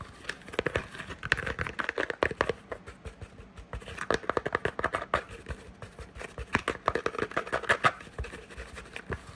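Long nails rapidly tap and scratch a small, hollow, cream-colored textured cardboard gift box held in the hand. Dense bursts of short, dry taps and crackly scratching come with almost no ring, centered on a papery tone around 1.8 kHz.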